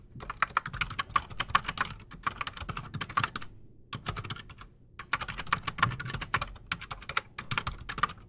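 Both hands type fast with their fingertips on a solid, full-size black Redragon Shrapnel K589 mechanical keyboard resting on a desk, fitted with Outemu Silent Sky silent switches and Razer PBT plastic keycaps. Rapid, muted, clicky keystrokes with short bright tops and a soft low thump come in quick bursts, with brief pauses near the middle of the clip.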